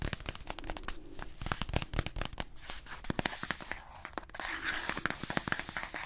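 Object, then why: Small cardboard box. A small, hollow blue cardboard box is held close and tapped and scratched with fingertips and short nails. Quick, dry taps with a low hollow thump mix with soft, brushy scratching. The taps die away almost instantly, leaving a crisp, close rustle.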